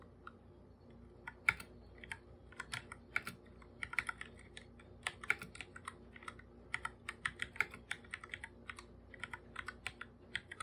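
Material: Plastic.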